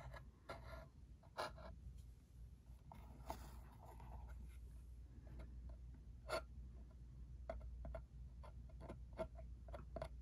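A small, hollow, cube-shaped cardboard ink cartridge box is tapped and scratched with a fingertip and a short nail on its side and edge. Quick, dry taps ring briefly around 650 Hz, mixed with soft, bright scratching over a steady low hum.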